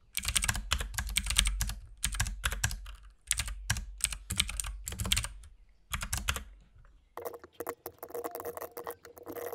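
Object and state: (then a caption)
Mechanical keyboard with plastic keycaps. Fingertips of both hands type on a compact RGB mechanical keyboard with white and pink plastic keycaps. Bursts of quick, clacky keystrokes combine a deep thock with bright clicks. Short pauses separate the bursts, and lighter, sparser taps close the clip near the end.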